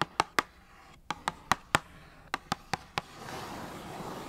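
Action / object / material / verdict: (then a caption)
tap / small cardboard box / cardboard / none. A small, hollow Kellogg's Fruit Winders cardboard box is tapped and scratched with long nails on its face and top edge. Eleven sharp, dry taps with a hollow ring near 1.4 kHz come in uneven clusters. They are followed by a steady, bright scratching rasp across the cardboard.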